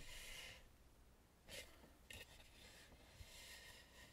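Long nails and fingertips rub and tap across the painted face of a red, carved, hollow wooden mask lying face up. Quiet, bright scratchy rubbing comes in bursts, broken by three soft, short taps with a faint low thud beneath.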